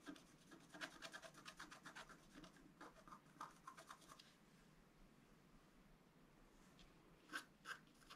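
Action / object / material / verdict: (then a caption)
scrape / black-coated scratch art paper card scraped with a wooden stylus / coated paper / none. A wooden stylus scratches near the bottom edge of a flat, black-coated scratch art card, about A4 in size, lying on a table. Quick, dry, bright scratching strokes come in a dense run for the first four seconds, then fade to a soft hiss. Two sharper, louder strokes land near the end.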